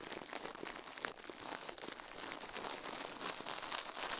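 Toothbrush bristles scrub the left soft silicone ear of a binaural microphone mounted on a metal mic plate, while the other gloved hand stays still. The result is a dense, continuous, bright scratchy crinkling with almost no low end, holding steady and growing slightly louder toward the end.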